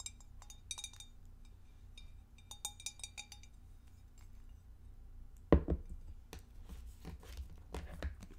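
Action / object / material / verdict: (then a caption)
tap / glass divided food container / glass / none. Long acrylic nails tap the edges of a clear, empty, hollow rectangular glass food dish with a divider, held in the hands, making light, bright clinks. Midway the dish is set down on the table with a sharper knock, and more scattered taps follow, all over a steady low hum.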